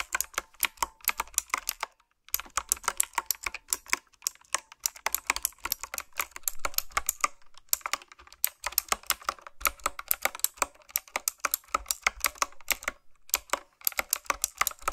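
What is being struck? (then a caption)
Mechanical keyboard with round plastic keycaps. Fingertips and long nails type on a retro-style, typewriter-style mechanical keyboard with round plastic keycaps. The result is a rapid stream of sharp, bright, clicky keystrokes with almost no ring, broken by short pauses around 2, 7.5 and 13 seconds.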